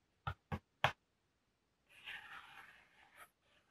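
A medium brown corrugated cardboard shipping box, hollow and partly opened, is held steady while fingertips and short nails tap and scratch across its top surface. Three short, hollow taps ring out, then a longer, bright, papery scratching rustle follows and fades.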